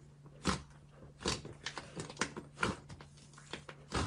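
A large mass of soft pink fluffy slime filling a clear glass bowl is pressed, folded and squeezed with fingertips and palms. Irregular bright, crackling squishes and pops rise out of a quieter bed of soft sticky squelching. A faint steady low hum runs underneath.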